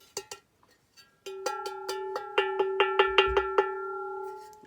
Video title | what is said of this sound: Réfection d’un ancien luminaire #2 / Siemens ALH 581 | ça sonne vraiment bien de très bonne qualité